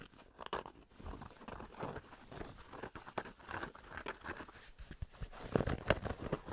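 Fingertips scratch the embroidered front panel of a grey cotton Penn State baseball cap held to the side. The result is a quiet, continuous, irregular rasp of soft fabric scratching and rubbing, muffled and weighted toward low and middle tones, with a few sharper, louder ticks near the end.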